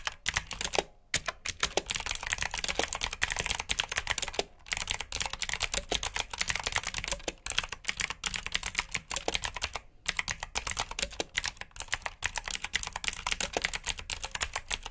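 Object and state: Mechanical keyboard with clicky blue switches.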